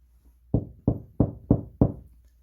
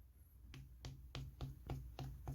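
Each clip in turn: First: Five low, boomy knocks on a wall that sound hollow, like gypsum board over an empty cavity. Second: Seven quick knuckle knocks, each a hard, dry tick that dies at once: a solid concrete wall.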